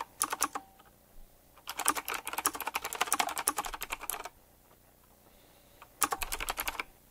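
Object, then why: Mechanical keyboard with round plastic keycaps. Fingertips type quickly on a full-size typewriter-style mechanical keyboard with round black plastic keycaps, chrome-look rims and a metallic frame. Bursts of sharp, bright clicky keystrokes come in three runs, a short one at the start, a long dense one in the middle and a final one after a pause, each click dying away almost instantly.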